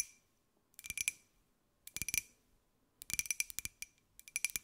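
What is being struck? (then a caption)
Small glazed ceramic jar. A small, hollow, white glossy ceramic jar with a pineapple print is held in both hands and tapped with long white nails. Four bursts of quick, light, bright clicks come with a faint glassy ring near 2.4 kHz, each tap dying away almost at once and leaving quiet gaps between the bursts.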